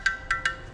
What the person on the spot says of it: Metallic sound. কি অদ্ভুত, কি সুন্দর।